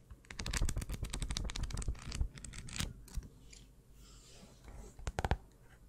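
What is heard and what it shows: A small pink paper notebook with a cardboard cover, held in the hands, has its cover and edge tapped and scratched with long nails. A quick run of crisp, clicky taps fills the first half, followed by softer, airy scratching and a final few sharp taps near the end.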